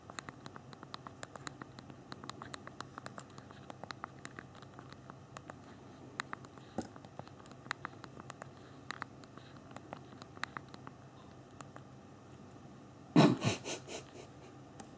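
Thumbs tap the small plastic keys of a handheld BlackBerry phone's physical keyboard while typing, producing a steady run of quick, light, bright clicks over a soft low background. Near the end, a single louder, fuller clack rings briefly before the soft tapping resumes.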